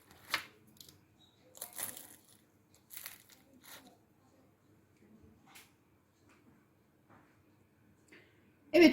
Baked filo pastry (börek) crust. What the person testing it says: जहाँ भी दबाएँगे, इसकी आवाज़ सुनाई देगी